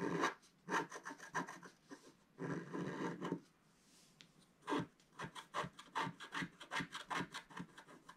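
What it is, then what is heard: Scratch-art paper being scraped. A wooden stylus scratches clouds into the top of a flat, black-coated scratch-art page, leaving scraped debris beside the sheet. Dry, raspy scraping comes as a series of short strokes and a few longer rubs, with a brief quiet pause in the middle. The strokes sound bright and gritty and stop abruptly with no ring.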